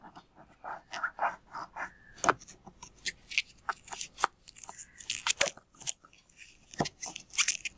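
Fingers pull and fiddle with the tied neck of a full, palm-sized, red-and-white latex water balloon, then both hands squeeze it. A long run of short, crisp rubbery squeaks and crackles follows, some sharper and brighter than others, with faint scraping between them.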